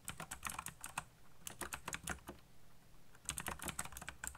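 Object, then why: Plastic mechanical keyboard keys. Fingertips tap quickly across the keys of a backlit black plastic mechanical keyboard, making crisp, bright clicks with a low thock under each stroke. The typing comes in fast bursts with a brief pause near the middle before resuming.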